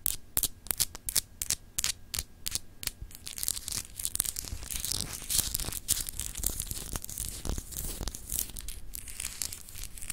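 Long acrylic nails scratch a palm-sized solid clear glass globe paperweight with etched continents, held in the hand. Sharp, separate bright scratches come first, then merge into a denser, continuous rasping over a low steady hum.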